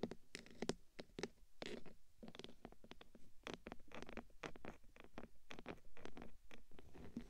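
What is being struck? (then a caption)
Metal microphone case. Long nails of both hands scratch the top of the hollow black metal body of a 3Dio microphone, then one hand scratches the side of the case. Quiet, dry, close scratching and tapping scrapes come in dense, uneven bursts, each stopping almost instantly, with a low-heavy body and faint bright edges.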